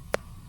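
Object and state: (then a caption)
Ripe jackfruit. A finger flicks a freshly harvested jackfruit (langka) once to check its ripeness, giving a single short, hollow, drum-like tap with a mid-pitched tone that dies away almost instantly. The drum-like sound marks the jackfruit as ripe.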